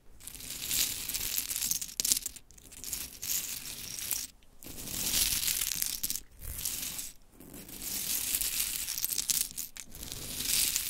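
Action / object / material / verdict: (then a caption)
scrape / pile of small painted wooden clothespins / wood / none. Long chrome nails scratch and rake through a pile of pink painted wooden mini clothespins, the pieces knocking and clattering together. The sound is a bright, dense rustling clatter that swells in several waves with brief quiet gaps between passes.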